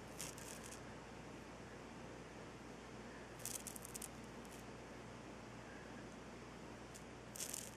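Fingers and nails rub and scratch the rough top of a solid, glowing Himalayan salt rock lamp. Short, bright, crackly scratching bursts come in clusters near the start, in the middle and at the end. Between them a quiet, steady low hum fills the background.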